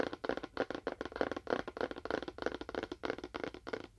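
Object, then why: Cardboard box. A fingernail taps on a cardboard box with a faux wood finish, making about nineteen short, dry taps at an uneven pace of roughly three per second. Each tap is a quick midrange tick that stops almost immediately.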